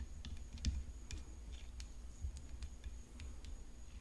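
Long fingernails tap the frame of a tennis racket. Light, bright clicking taps come at an uneven pace, each dying away quickly, over a steady low rumble and a faint constant high whine.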